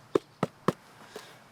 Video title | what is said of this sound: My Favourite Garden - Season 1 Episode 7 - Rousham Park with John Craven - Full Episode | I'm assured it's not hollow. It's this kind of spongy quality of the bark that makes it sound as though it is.